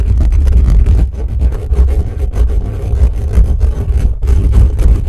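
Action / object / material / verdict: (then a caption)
scrape / metal mesh microphone grille / metal mesh / none. Fingertips and nails of both hands scratch fast across the bare metal mesh grille of a black condenser microphone with a hollow head. The result is a dense, boomy, low rumbling scrape that stays loud throughout, with brief dips in intensity and almost no high content.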